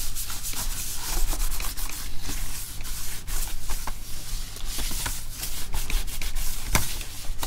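A small cloth wipes and rubs the keyboard deck of an open plastic laptop held upright. A steady, scratchy friction sound continues throughout, broken by short bright swishes over a faint low hum.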